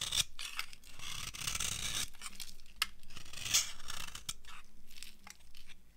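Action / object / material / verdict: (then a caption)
scrape / soap bar scraped with a metal blade / soap / none. A metal blade scrapes and carves an old, dry beige bar of solid soap, giving off crumbly shavings. The scraping comes in bright, crunchy, rasping strokes with a few sharp clicks and short pauses in between.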